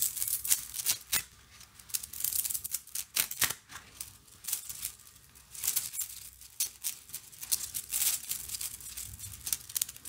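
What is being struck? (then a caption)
Plastic coil spring toy. A large blue plastic slinky, a hollow coil spring toy about a hand wide, is held in both hands and shaken, stretched up and down and collapsed. Its plastic coils clack and rattle together in a rapid run of dry, bright clicks with almost no low end and no ring between them.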